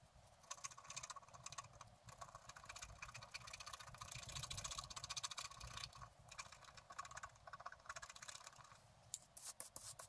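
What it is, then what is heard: Scratch art paper being scratched. A wooden stylus scratches a figure and a tree trunk into a thin, flat sheet of scratch art paper, producing a dense run of quick, dry scraping strokes. The sound is mostly bright and high with a soft low rumble underneath, and it swells in the middle before thinning into a few sharper scratches at the end.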